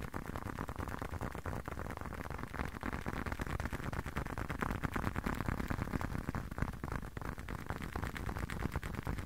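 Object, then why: Leather long wallet. A closed, hand-sized blue leather long wallet is tapped and scratched with fingertips. A steady run of soft, dull taps mixes with a faint scratchy rustle, heavy in the low end with almost no brightness. The taps stay fairly even in level throughout.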